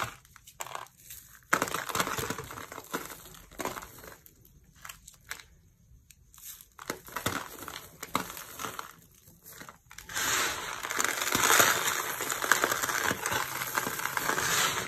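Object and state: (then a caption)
Dry soap flakes being crushed. Hands with long nails scoop and crush a pile of pale green dry soap shavings on a purple mat. Crisp, crinkly crunches come in irregular bursts with short quiet gaps, then turn into steady, dense, bright crunching from about the ten-second mark to the end.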